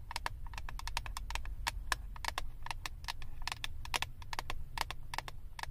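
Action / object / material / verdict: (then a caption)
tap / clear plastic lid of a flat eyeshadow palette / plastic / none. Long acrylic nails tap rapidly on the clear plastic lid of a flat eyeshadow palette. The result is a quick, irregular run of short, dry clicks with a bright edge, each dying away almost instantly over a steady low hum.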